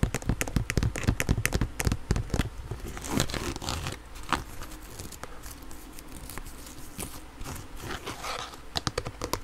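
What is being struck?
Hard plastic inline skate cuff.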